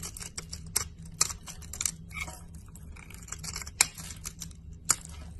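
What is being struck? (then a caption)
Bar of soap cut with a knife blade. A solid teal and white bar of soap, held in a hand with long painted nails, is shaved into crumbly flakes with a utility knife blade. The steady scraping and cutting make a dense, bright, crackling rasp, broken by several sharp, short snaps over a faint low hum.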